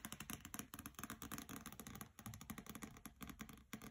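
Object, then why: Hardcover book with paper dust jacket. Fingernails tap rapidly on the glossy paper dust jacket of a hardcover copy of the novel "Graceling" lying on a carpet, first on the cover and then along its side edges. The quick, dry clicks each carry a soft low thump and a bright papery crackle, dying away almost instantly in a steady, uneven patter.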